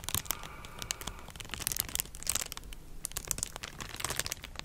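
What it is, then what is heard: Plastic bubble wrap. A clear plastic bubble wrap sheet is held in both hands near the mic, crinkled and scratched with long nails. Dense, bright crinkles and sharp scratchy ticks come in quick irregular bursts over a soft low rumble, with each tick dying away at once.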